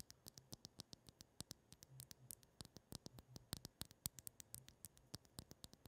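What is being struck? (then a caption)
Liquid-filled glass globe. Long acrylic nails rapidly tap and scratch a pink liquid-filled glass facial ice globe, a round ball with a clear glass handle, held in the hands in front of the mic. Dozens of quiet, sharp, bright clicks sound in an uneven stream, each dying away almost instantly, over a faint low hum and soft scratching between the taps.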